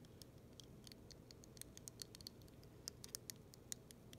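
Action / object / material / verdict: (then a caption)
tap / clear acrylic snowflake ornament / acrylic plastic / none. Long silver nails tap and scratch along the smooth arms of a large, solid, clear acrylic snowflake ornament with thick icicle-like arms, held in one hand. Quiet, sharp, high-pitched clicks and ticks come in an irregular series, each dying away almost instantly over a low, steady background hum.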